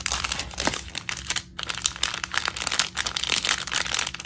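A flat punch needle craft kit in a clear plastic sleeve lies on a wooden floor while fingertips and long nails tap, rub and scratch the crinkly plastic. Dense, bright crinkling and scratchy taps run throughout, with a brief pause near the middle.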